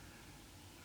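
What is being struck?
Nothing is struck.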